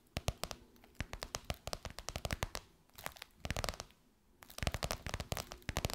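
Long white nails tap and scratch a golden, crocodile-embossed faux leather pillowcase stretched over a soft pillow. The result is a quick run of dry, crinkly clicks and bright scratchy rasps with a soft low thud under each tap. Short pauses break up the taps before a busier burst at the end.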